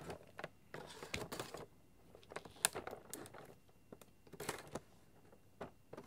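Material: Cardboard.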